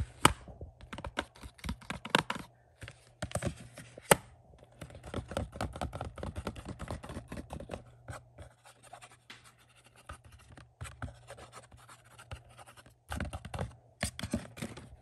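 Fingertips and short nails quickly tap and scratch the front cover of a single blue, hollow, thin-walled plastic Batman Blu-ray case held in front of a shelf. Dry, clicky taps mix with raspy scratching bursts in an irregular rhythm, with brief pauses and a faint steady low hum underneath.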